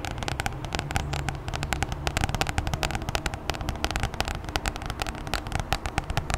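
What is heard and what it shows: Long nails of both hands tap rapidly on the glossy plastic cover of a red A4 Oxford spiral notebook held upright. The result is a dense stream of sharp, bright clicks that die away almost instantly, over a steady low rumble and hum.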